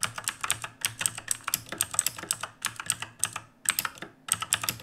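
Fingertips from both hands type rapidly on a black backlit mechanical keyboard with plastic keycaps, resting on a wooden desk. The result is a quick run of sharp, bright, clicky keystrokes that die out instantly, with little low end and a couple of short pauses between bursts.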